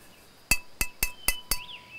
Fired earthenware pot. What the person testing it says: Deze is goed gebakken. Ja, en geen barsten. Klinkt als een klokje.